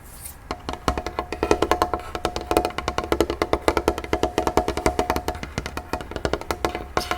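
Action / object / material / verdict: tap / wooden tray table / wood / none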